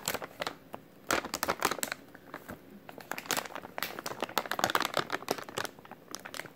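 A white plastic-film packaging pouch with printed text is held in both hands while the fingers squeeze and crinkle it. Dense, bright crackling and crinkling bursts come in irregular clusters with brief quieter gaps. There is almost no low end, and each snap dies away almost instantly.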